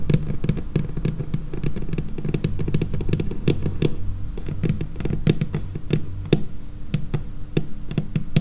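Long painted fingernails of both hands tap rapidly across a large, flat, solid dark laminated wooden tabletop. The taps come in a dense, steady patter, each a short dull knock with a low woody body and a faint sharp click on top, dying away almost at once.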